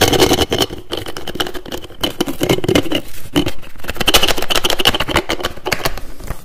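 Fingers rapidly tap and twist the screw cap on a partly filled, pink translucent plastic toiletry bottle, making a quick, uneven run of sharp clicks and scraping twists. The taps have a bright plastic ring, with a dull thud underneath.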